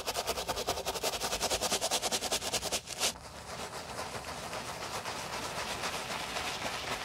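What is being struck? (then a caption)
Fabric mesh and leather sneaker. A wooden block brush with stiff bristles scrubs the foamy mesh upper of a white mesh and leather sneaker. Fast, regular back-and-forth strokes give a bright, hissing rasp for about three seconds, then a short sharp scrape. A softer, steadier scrubbing hiss follows.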